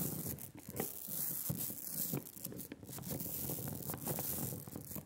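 A hand-held rubber brayer is rolled in different directions over a layer of sticky black printing ink on a glass slab. It makes a continuous tacky, crackling rasp with a low rumble beneath and bright hiss on top, swelling and dipping with each pass of the roller.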